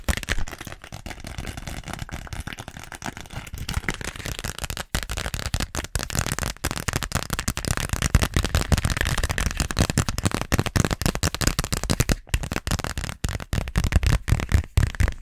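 Long nails tap and scratch a small pink glossy plastic (vinyl) zippered pouch with a flamingo print. The result is a rapid, dense stream of crackly taps and scratches, heavy in the low end, with a few brief pauses and slightly busier activity in the second half.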